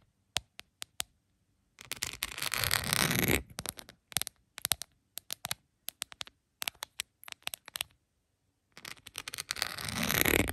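Long pointed acrylic nails tap and scratch a rhinestone-covered plastic phone case lying flat. Sharp, bright clicks come in scattered bursts, broken by two longer stretches of dense, gritty scratching near the start and end.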